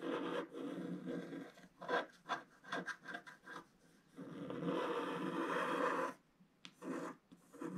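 A wooden stylus scrapes the black wax coating of a flat, wax-coated scratch art sheet, tracing along a spiral and curves. Short, dry rasping strokes come in uneven bursts, then a long steady scratch runs for about two seconds before a few quieter strokes close the clip. The scratching is soft and papery, centered in the low-mid to mid range.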